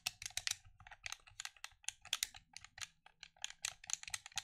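Fingers click and tap the buttons of a black plastic gamepad held at chest level. About 22 quick, bright, dry plastic clicks follow one another at an uneven pace, each dying away almost instantly, with very little low end.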